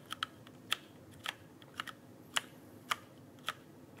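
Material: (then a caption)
Plastic. Fingertips press and tap the plastic keycaps of a full-size backlit mechanical keyboard held upright near the microphone. About ten short, bright clicks land at an uneven pace over a low background hiss, each dying away almost instantly.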